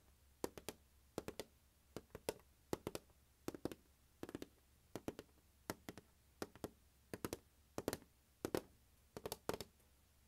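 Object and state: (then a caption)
Plastic glockenspiel carrying case. A closed, large, hollow turquoise hard plastic glockenspiel carrying case with a molded handle, the instrument inside, lies on carpet and is tapped across its lid with the fingertips and nails of one hand. About 37 quick, dry taps come in small bursts of two or three, each a hollow plastic knock around 355 Hz with a bright click and almost no ring, over a quiet background.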